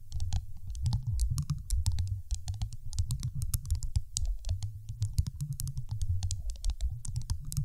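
A large, solid, dark teal glass marble sitting on a microphone is tapped rapidly with the long acrylic nails of both hands. Quick, sharp clicks with bright ticks sit over a heavy, deep, booming thud, with nearly all the energy down low. Each tap dies almost instantly, making a dense, steady patter for the whole clip.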